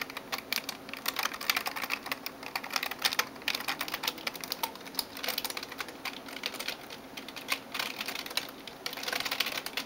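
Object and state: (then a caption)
Plastic computer keyboard. Fingertips and nails type on the keys of a backlit plastic gaming keyboard. A steady, dense stream of quick, bright clacks and taps fills the clip, with almost no low end and each click dying away almost instantly.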